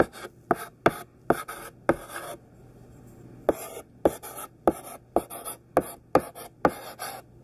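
Thick, chunky pink sidewalk chalk held in the hand writes across a black chalkboard in short, scratchy strokes that form words. Quick gritty scrapes with a bright, raspy edge come in a steady series, with a brief pause of about a second partway through before the strokes resume.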